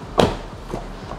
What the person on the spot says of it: kalau ada peredam bisa diketok udah nggak kayak besi, tapi kayak plastik. Ditutup juga kayak mobil Eropa